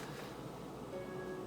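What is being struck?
Nothing is struck.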